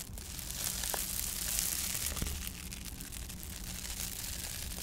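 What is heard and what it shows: A flat, textured, ridged silver foil-laminated insulation sheet is held under both hands while long painted nails scratch and rub across its ribbed surface. The result is a steady, bright crinkling and scraping rasp, with faint low hum underneath.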